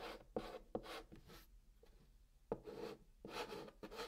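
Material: Cardboard.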